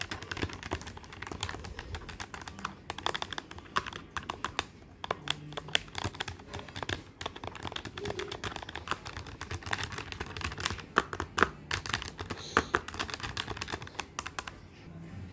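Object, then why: Plastic desktop calculator with plastic keys. Fingertips of both hands tap the plastic keys of a black plastic desktop calculator with a hollow body. The result is a steady run of quick, dry clicks and light clacks with a bright edge and almost no ring, some taps landing louder than others.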